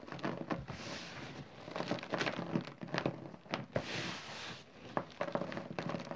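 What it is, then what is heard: Chalk and cornstarch powder. Bare fingertips scratch and rake lines through a thin layer of green chalk and cornstarch powder on a smooth surface, then gather it into a pile. Dry, crinkly scraping and soft hissing swishes are heard, broken by short, sharp ticks and crackles.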